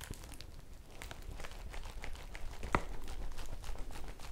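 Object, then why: Woven polypropylene bag. A folded yellow woven polypropylene bag is held up in both hands while long nails scratch it and fingers squeeze it. It gives a steady, irregular crinkling and scratching with bright, crisp crackles over a low background rumble. One sharper crackle stands out partway through.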